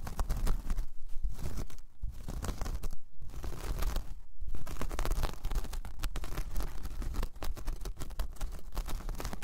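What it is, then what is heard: Woven jute coaster. Long painted nails scratch a large, flat, solid round coaster of braided jute/straw, first with both hands and then with one. The result is a dense, crackly scratching texture with a heavy low rumble, broken by brief quieter pauses in the first half before it settles into a steadier, continuous rasp.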